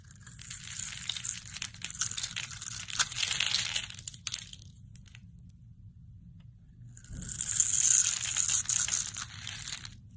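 A solid rectangular pink bar of soap with a blue scored top layer is held in the hand and scraped and cut into flakes with a metal utility-knife blade. Dense, bright, crisp crunching and scraping fills the first four seconds, falls to a quiet lull, then returns louder and brighter around seven seconds before fading toward the end.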